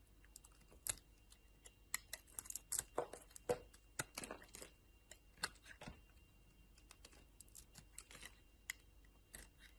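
A metal utility knife blade shaves a solid yellow bar of soap with a purple rind, and pieces fall off. The sound is a quiet, irregular run of short, crisp scraping cuts and soft crumbly ticks, bright and dry with almost no ring.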